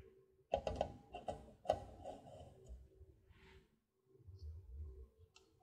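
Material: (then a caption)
Plastic. Long dark-painted nails tap and click on the base and sides of an empty, hollow red plastic party cup, about 16 oz, held upside down on a wire rack. Irregular, sharp clicks give a hollow tone around 625 Hz with bright edges, each dying away almost at once, with a short quiet pause before softer tapping resumes.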